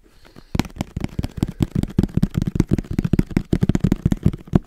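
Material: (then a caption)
Cardboard. A small, hollow, black printed cardboard camera box is held in the hand and tapped quickly with fingertips and nails. After a quiet half second, a rapid, uneven run of about twenty short, dry, hollow taps follows, each low and boxy with a brief bright click and no ring.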